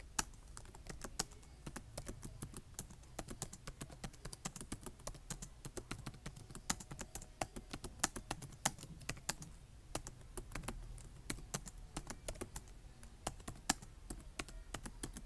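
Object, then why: Plastic laptop keyboard. Fingertips type quickly on a black plastic laptop keyboard, producing dense, rapid, quiet tapping. Each key press is a short, dry, bright click that dies out almost instantly, over a steady low hum.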